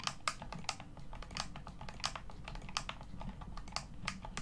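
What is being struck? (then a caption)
Plastic game controller. Fingertips and thumbs rapidly press the buttons and thumbsticks of a hollow black plastic Xbox One controller. The result is a quick, uneven run of sharp, bright plastic clicks and taps that die away almost instantly, over a steady low rumble.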